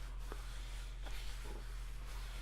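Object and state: Nothing is struck.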